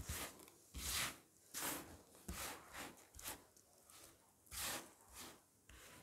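A pile of dry, crumbly green and cream bar soap shavings on a flat picture surface is rubbed, pressed and crushed with bare fingertips and palms. About nine bright, crunching, rubbing bursts come at an uneven pace, each fading quickly into a soft, dry rustle.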